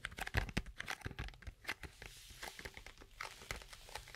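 A small, hollow, closed white-and-pink cardboard box is held close to the microphone and handled, scratched and tapped with long acrylic nails. The result is a dense run of quick crinkly, papery scratches and taps with soft low thumps and a bright rustle, each sound dying away almost at once.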